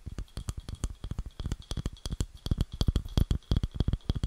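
Long nails tap and scratch the underside of a round, light wooden bowl, about palm-to-plate size, hollow and empty and held close to the mic. About thirty quick, irregular taps give short, dull, low knocks, each with a bright clicky edge and almost no ring, mixed with faint scratching.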